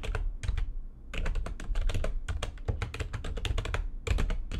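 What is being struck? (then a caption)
Plastic computer keyboard. Fingertips with long nails type fast on the keys of a full-size, low-profile, backlit plastic computer keyboard resting on a desk. A quick run of short, crisp clicks with a soft low thump under each key press breaks off briefly around the first second, then picks back up in a dense, steady flurry to the end.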